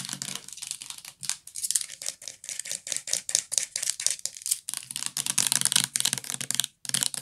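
Long nails tap rapidly on the label area and white cap of a full purple plastic bath liquid bottle held close. The result is a dense run of crisp, bright clicks and ticks with a brief pause near the end.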